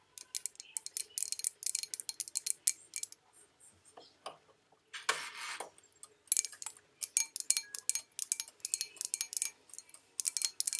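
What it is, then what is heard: Porcelain bowl tapped with fingernails. Long acrylic nails tap rapidly on the outside of a hollow, empty white porcelain bowl with a painted olive pattern, held in the hand. The bursts of crisp, bright clicks have very little ring and no low end, with a quieter pause and a brief rustling scrape midway before the tapping resumes.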